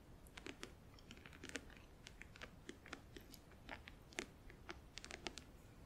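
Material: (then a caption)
Plastic. Long acrylic nails tap rapidly on the lid and front edge of a closed, hollow, clear plastic compartment organizer box filled with press-on nails. The result is a quiet, irregular stream of quick, dry, bright clicks that die away almost instantly, each with a faint hollow body.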